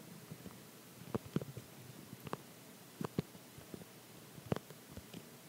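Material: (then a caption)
Plastic. An empty clear plastic phone case held in the hand is tapped and pressed with sticky fingertips and short nails. Seven quiet, dry taps and tacky clicks are heard, with a soft low body and brief bright ticks that die away almost instantly over a faint, steady background hiss.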